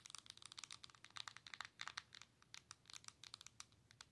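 Long nails tap and scratch the glass touchscreen of a Nintendo Switch handheld console with a plastic body. About two dozen quick, dry, bright clicks come in an uneven run, with faint crinkly scratching between them. The sound is quiet and has almost no low end.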